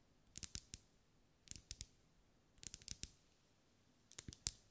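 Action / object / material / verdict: tap / wax pillar candle / wax / none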